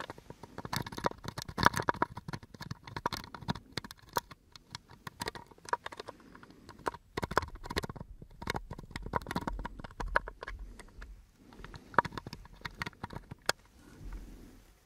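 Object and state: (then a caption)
Empty wooden box. An elongated brown hinged wooden box, open and empty, is handled, tapped and scratched with fingertips and nails. Rapid, short, dry clicks and knocks with a hollow woody tone near 1 kHz come in dense bursts separated by brief pauses. Softer scratching rustles run between them and close the clip.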